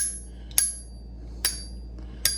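A silver coin held in a ringer tool is flicked three times, each flick giving a bright, high metallic "shing" that rings briefly and fades over a low steady hum. The clear ring indicates a real silver coin.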